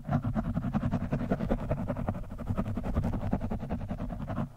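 The tip of a metal screwdriver scratches the top of an orange foam windscreen on a microphone. It makes a quick, uneven series of muffled, rustling scrapes that are heavy in low rumble, with almost no bright content. Each stroke ends abruptly.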